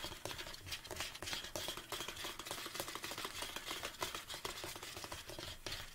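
Fingertips and nails tap the sides of a large, hollow black plastic Anabolic State protein tub held upright on a table. The result is a quiet, continuous, irregular patter of short, bright, clicky taps with a hollow plastic knock and very little ring after each hit.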